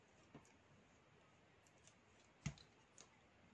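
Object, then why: Bar of soap cut with a metal knife. A metal knife blade cuts and shaves flakes from a small solid piece of black soap held in the fingers. A few short, dry clicks and scrapes sound over quiet background hiss, with the loudest, sharpest crack near the end and a softer one just after.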